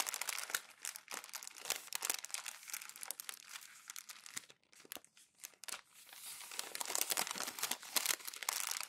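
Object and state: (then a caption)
Glossy magazine paper being crumpled. Thin glossy printed magazine pages lying open flat on a white desk are lifted, crumpled, scrunched and rolled by fingertips and palms. Dense, bright crackling and crinkling fills the clip, easing into sparser, quieter rustles midway. The crumpling then swells back into a steady, louder scrunch.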